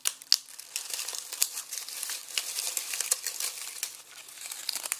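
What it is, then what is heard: Dry onion skins crumpled in a mesh bag. Fingertips squeeze and crumple dry, papery onion skins through a red plastic mesh produce bag that is loosely filled with them and resting on a bamboo cutting board. The result is a steady, dense, bright crinkling and crackling with sharp little snaps and almost no low end.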